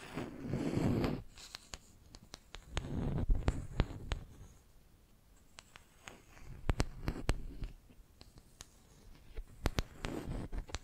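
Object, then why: Wooden brush handle. Long nails scratch and tap across the surface of a flat, solid wooden makeup brush handle held in one hand. Several soft, low, rumbling scratching bursts are dotted with sharp, bright clicks and ticks from the nails striking the wood. Quieter, near-silent gaps fall between them.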